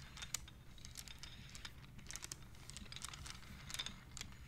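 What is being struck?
Wooden abacus with wooden beads.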